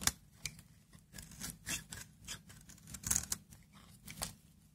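A utility knife blade shaves long, brittle curls off a hand-held dry Aleppo soap bar with a green interior, using repeated scraping strokes. Each stroke gives a short, dry, bright scrape, and the passes are mostly high-pitched with little low end. About nine distinct strokes stand out.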